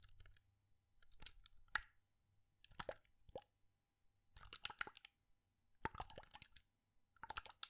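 A clear plastic bottle with a white cap, partly filled with orange liquid, is held upright in one hand with fingertips on its body and shaken and tilted. The result is quiet, separate bursts of bright, crisp sloshing, plopping and clicking, with short silences between them.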